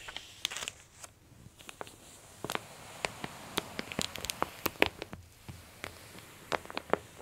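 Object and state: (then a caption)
Glossy paper catalog being pressed and rubbed. A flat palm and long nails press and rub the open pages of a glossy paper women's clothing catalog, and the hands squeeze its bottom edge. Dry, bright paper crinkles and sharp crackling snaps come at an uneven pace over a quiet background.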